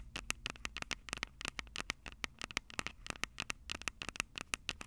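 Long purple nails scratch and tap the silver metal mic capsules of a Tascam DR-05 handheld audio recorder. A quick string of sharp, dry, bright clicks and scrapes rings with a high tone, each snapping off almost instantly over a faint low hum.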